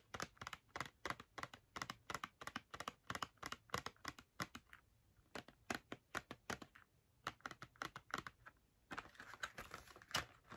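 Long nails tap rapidly on the front face of a small, hollow Crayola cardboard box filled with markers, which is held in the hands and then lowered toward a book. Dozens of quick, dry, crisp clicks come in uneven bursts with brief pauses, each fading almost at once with a bright edge and little low end. Near the end, a soft, hissy rustle rises beneath the last taps.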